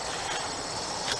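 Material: Nothing is struck.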